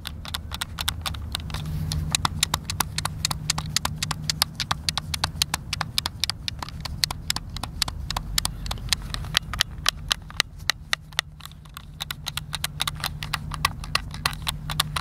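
Fingertips and thumbs press and click the buttons of a hand-sized, hollow white plastic Xbox controller held in both hands. A rapid, uneven stream of sharp, bright clicks runs throughout, each one dying out almost instantly over a steady low hum.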